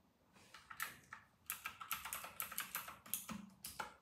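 Fingertips of both hands type steadily on a full-size white RK960 mechanical keyboard with round retro plastic keycaps. The keystrokes are crisp, bright plastic clacks with very little low end, each dying away quickly in an uneven, continuous patter.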